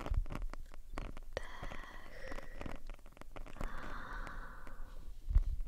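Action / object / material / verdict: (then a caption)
scrape / foam microphone windscreen / foam / none. Long painted nails of both hands scratch along the black foam windscreen of a RØDE shotgun microphone, a soft porous cylinder. The result is a close, steady, muffled rumbling scratch, heavy in the low end, with faint whistly midrange tones drifting through and a louder thump near the end.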